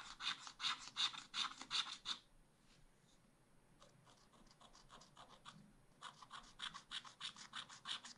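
A wooden stylus scratches lines into the cone drawings on the lower part of a black wax-coated scratch art pad page. Quick, evenly paced strokes make bright, raspy scratching bursts that die away almost instantly. After a near-quiet stretch with only faint, light strokes, the strong scratching returns.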